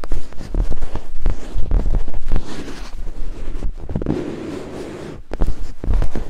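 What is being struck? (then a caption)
Silicone microphone ear scraped with wooden picks. Two thin wooden picks scrape and climb over white silicone binaural microphone ears, producing close, muffled, low rumbling scratches and soft thumps in quick, uneven bursts. The scraping eases into a quieter, steady rustle midway, then picks back up with sharper knocks near the end.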